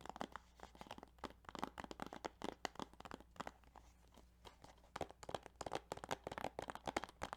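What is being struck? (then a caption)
Plastic video game case. Fingertips tap on the plastic case of the Yu-Gi-Oh! Duelist of the Roses video game, giving quick, dry clicks with a crisp, crinkly edge. The quiet tapping comes in rapid bursts, briefly softens and thins out midway, then picks back up with a steady flurry of short, tight taps.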